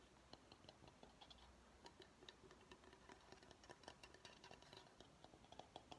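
Fingernails tap a medium, empty bamboo bowl, first on the outside and then on the rim and inside as the bowl is tilted. The result is a quiet, irregular series of short, dry clicks with a woody tone around 730 Hz and bright edges, each dying away almost instantly.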